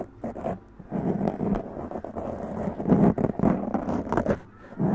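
Long press-on nails scratch and tap a black foam windscreen on a large condenser microphone. The result is a dense, muffled, crackling rasp that swells and fades in uneven bursts, heavy in the low and middle range with almost no bright top. A few sharper taps poke through the scratching.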